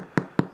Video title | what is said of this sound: BÁNH MÌ MEN CHUA KHÔNG CẦN NHỒI - How to make sourdough bread, handmade ( #Mai_Chi_Nghia ) | Khi mà mình gõ vô nghe nó nghe âm thanh nó rất là vang. Còn nếu mà nghe nó bịch á, có nghĩa là bên trong nó vẫn còn nhiều hơi nước chưa chín.